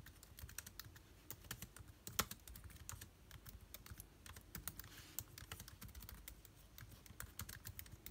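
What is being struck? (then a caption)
Plastic laptop keyboard keys. Fingertips of both hands type rapidly on the plastic keys of a backlit MacBook Air keyboard. A quiet, steady stream of short, crisp clicks with soft low thumps fills the clip, broken by one sharper clack a little after two seconds. Each keystroke stops almost instantly, with no ring.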